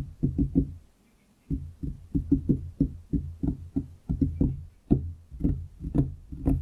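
Fingertips of both hands tap on a large solid wooden desktop around the microphone, producing about twenty short, dull, low knocks. The taps come in quick irregular clusters with a brief pause near the start, and each dies away almost instantly with no ring.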